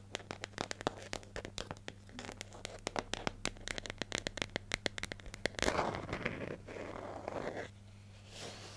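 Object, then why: Plastic jar lid. Long nails tap and scratch the flat lid and edge of a hollow yellow plastic hair gel jar held in hand. A rapid string of sharp, bright clicks runs for about five and a half seconds, then gives way to a denser, rustling scratch that fades out near the end. A steady low hum sits underneath throughout.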